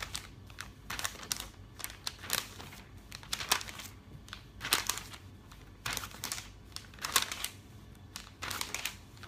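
Fingertips flip and brush the glossy pages of a thick, open paper catalog one after another. The result is a run of soft, bright, crinkly swishes and papery rustles in uneven bursts, with quiet pauses between the page turns.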